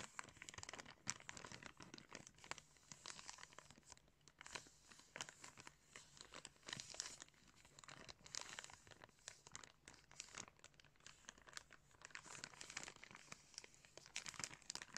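Fingers crinkle and scrunch a small clear plastic bag wrapped around a pair of blue plastic sunglasses. A steady stream of quiet, crisp crackles and rustles runs throughout, bright and hissy with almost no low end, each tiny snap dying away instantly.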